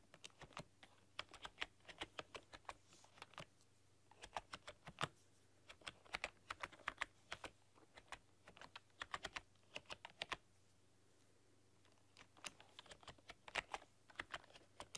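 Fingertips and long painted nails type rapidly across a full-size black plastic computer keyboard with rainbow LED backlighting. The result is bursts of quick, sharp, bright clicks that cut off almost instantly, with a short pause before the typing resumes.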